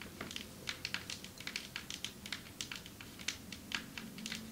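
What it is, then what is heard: Marble table top tapped with nails. Long metallic nails tap on a marble table top, giving a fast, irregular run of sharp, crisp clicks. About 25 taps are heard, each bright and dying away almost instantly.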